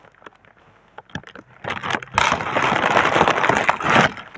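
Hands with long painted nails rub, press and fold a large, clear, printed Sealed Air plastic air-cushion packaging sheet made of thin film. Sparse, quiet crinkles and taps build into a dense, loud, bright crackling rustle that holds steady before easing off at the end.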